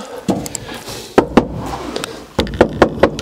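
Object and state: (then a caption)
Sheet-metal vehicle panel, damped by sound-deadening mat. Knuckles knock on a camper truck's sheet-metal panel after a sound-deadening mat has been applied. The series of short, dull knocks stops quickly with almost no ringing. The panel now sounds fuller and more muffled because the treatment damps vibration and resonance, so gravel striking it will sound duller.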